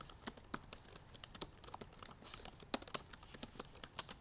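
Long purple nails tap fast across the black plastic keys of a silver aluminum MacBook Pro laptop keyboard. The result is a quick, irregular run of short, bright, clicky taps with almost no ring or low end, some taps sharper and louder than others.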